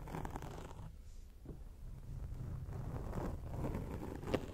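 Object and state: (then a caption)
Foam microphone windscreen being scratched. Long acrylic nails scratch a round grey foam windscreen on a microphone. The result is a steady, muffled, low rumbling rustle with a few brief brighter scrapes, the sharpest one just before the end.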